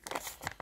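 A limp paper banknote, worn from a very long time in circulation, is flexed in the hands, giving only soft, brief papery crinkles. It makes little of the crisp crunch a fresh banknote has.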